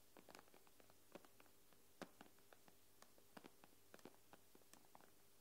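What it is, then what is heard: Glass tablet screen tapped with nails. Long nails tap and scratch quickly on the glass screen of an iPad, making a quiet run of short, sharp clicks with bright, crisp edges. The taps come in irregular bursts over a faint, steady low hum.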